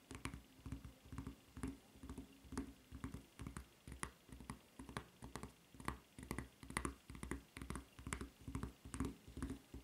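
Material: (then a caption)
Rubber. Long nails tap and scratch the serrated surface of a white rubber flip-flop footbed with a red rubber strap. The result is a quick, slightly uneven run of soft, dull thuds, each edged with a brief, bright scratchy click.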